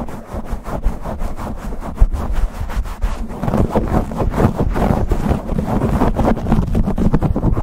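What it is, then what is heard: Foam microphone windscreen being scratched. Fingertips and nails scratch and rub fast across a black foam windscreen on a silver condenser microphone. The result is a dense, continuous stream of muffled, boomy scraping and thumping, heavy in low rumble with little brightness, pulsing rapidly from start to finish.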